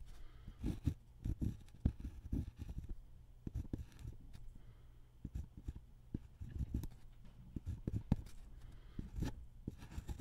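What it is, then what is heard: Pen drawing on paper. A ballpoint pen held in the hand scratches small drawing strokes on a thin white paper sheet lying on a wooden table. The clip is a quiet, dry run of short, irregular scratches and taps, mostly low and muffled, with brief brighter edges on the sharper strokes and no ringing between them.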